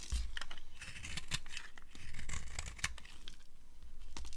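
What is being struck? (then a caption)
Bar soap scraped with a metal blade. A metal blade scrapes and carves flakes off a dry green-and-white striped bar of soap. Steady, crisp scraping and crumbly crackling continue throughout, with bright scratchy bursts over a low rumbling undertone.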